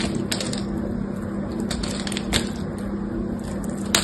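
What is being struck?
Soap bar with a thin metallic coating.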